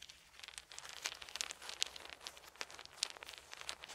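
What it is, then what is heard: Wooden beads rubbed together. Small solid wooden beads are held in both hands while the fingers roll and rub them together. The result is a quiet, steady stream of bright, dry clicks and rustling taps at an irregular pace, with no ring after each tap.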